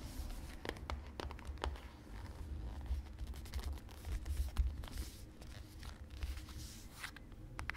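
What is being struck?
Small cardboard box of cornflour.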